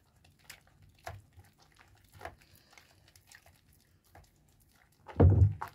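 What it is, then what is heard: Bar of soap being lathered in wet hands. A wet, foamy rectangular bar of pale yellow soap is rubbed and turned in bare hands over a basin of soapy water. Soft, quiet squishing and slippery rubbing come in faint bursts, ending in a louder, fuller squelch near the end.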